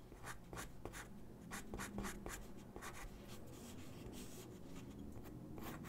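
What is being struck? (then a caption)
Drawing paper sheet on a wooden desk, graphite pencil. A graphite pencil sketches on a single white sheet of drawing paper resting on a wooden desk. Quick, uneven scratching strokes come in bright, airy bursts over a soft, steady low background. The overall sound stays quiet throughout.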